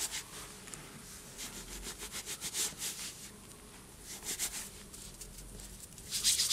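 Hands squeeze, rub and sift handfuls of loose white cornstarch and gym chalk powder in a bowl, letting it fall through the fingers. The result is a soft, bright, hissy crunching and rubbing with a steady faint texture, swelling into louder squeaky crunches during the firmer squeezes.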